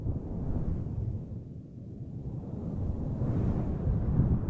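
Fingers with long nails stroke and rub a large, fluffy grey synthetic faux fur microphone windscreen. The result is a dense, muffled low rumble with almost no high content, easing off briefly near the middle before swelling louder again toward the end.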